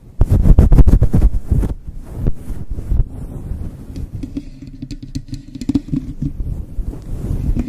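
Long chrome nails and fingertips scratch and flick the sides and lower edge of a fluffy grey synthetic fur windscreen on a Blue Yeti microphone. A loud burst of rapid, heavy, muffled scratches, boomy and almost all low rumble, gives way to a steadier, softer rustling and brushing with occasional sharper flicks.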